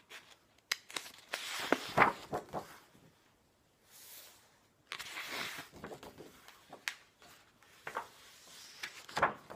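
Fingertips lift, flip and smooth the paper pages of a large, glossy, illustrated hardcover library book lying on a wooden table. Bright, crisp rustles and sliding swishes come in uneven bursts, with a quieter pause partway through. Each page settles with a soft papery whisper.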